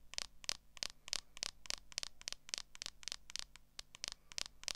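Long acrylic nails scratch across the back of a smartphone in a clear plastic case, making a rapid, uneven series of short, dry, bright scratching strokes. Each stroke stops almost instantly, with a faint low hum underneath.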